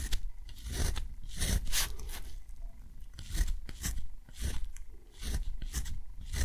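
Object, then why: Thick textured cotton paper under a metal pen nib. A metal dip pen nib scratches short strokes across thick textured cotton paper, drawing small geometric shapes and a box around them. Quick bright, raspy scrapes come in uneven bursts over a soft low rumble, each stroke stopping dry with almost no ring.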